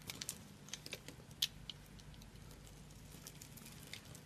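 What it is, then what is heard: Dry soap bar being scraped and cut. A solid, hand-sized bar of dry orange soap, held in one hand, is scraped and cut with a small metal blade, and crumbling pieces fall onto a pile of soap bits. Quiet, dry crunching and scraping comes as short, bright ticks and crackles, denser in the first half-second and with one sharper snap near 1.4 seconds. It then settles into a soft, steady crumbling hiss over a faint low hum.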